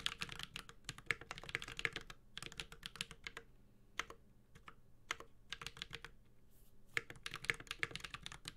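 A Space65 Cybervoyager 65% mechanical keyboard with a white-gold aluminum case, carbon fiber plate, plastic keycaps and tactile Holy Panda switches is typed on steadily with the fingertips of both hands. Bright, crisp keystrokes clack in quick bursts separated by brief pauses, each click dry and short with almost no ring and little low end.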